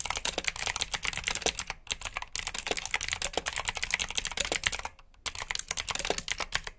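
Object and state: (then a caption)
Mechanical keyboard with clicky blue switches. Fingertips type steadily on a black plastic backlit mechanical keyboard with blue switches. The result is a rapid stream of bright, sharp clicks with very little low end. Short gaps appear near 2 seconds and a longer pause near 5 seconds before the typing resumes.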